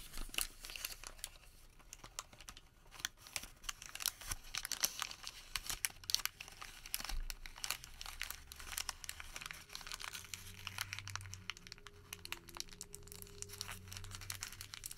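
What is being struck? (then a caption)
Thermal paper receipt. A Home Depot thermal paper receipt is crumpled into a ball with the fingers of one hand. Dense, bright crinkling and sharp little crackles continue steadily for the whole clip at a fairly quiet level, with a faint low hum underneath in the later seconds.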